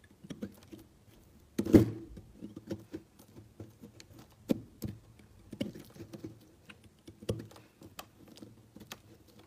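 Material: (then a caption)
Soap. A utility knife slices thin layers off a large, solid, cream-colored stamped soap cube resting on a mat, and flaky shavings pile up. The result is a quiet series of soft, short, dry crackling cuts with a muted low-mid tone, the loudest coming early at around 1.7 seconds. The cuts continue irregularly through to the end.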